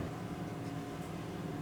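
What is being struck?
Nothing is struck.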